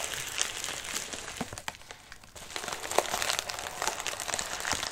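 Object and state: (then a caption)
Padded envelope. A medium white padded mailer with a wrinkled surface rests on a lap while a hand rubs and grips its crinkly surface. Dense, bright crinkling and crackling fills the clip, briefly easing around the two-second mark before resuming with sharp crackles.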